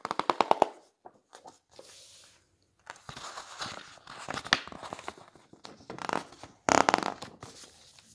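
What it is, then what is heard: Glossy paper hardcover book. A flat hand rubs across the coated pages of a large, thick, solid hardcover architecture coffee-table book lying open on a wooden table, then fingertips flip and smooth its glossy photo pages. A quick burst of crisp, crackling paper snaps opens the clip, followed by soft brushing swishes and papery rustles, with bright flutters of turned pages. Another sharp crackling burst comes near the end before the sound settles into quiet rubbing.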